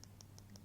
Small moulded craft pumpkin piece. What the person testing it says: if you tap it it makes that noise it means that it's dried up